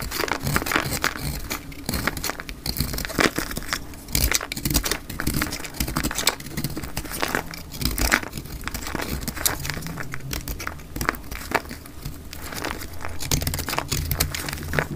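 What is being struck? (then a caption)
Soap bar cut with a blade. A solid, round, pale blue crumbly soap is held in the hand and cut into chunks with a metal utility blade. The clip is a dense run of dry, crisp crunching and crackling as the blade bites through, with bright snaps over a steady low rumble.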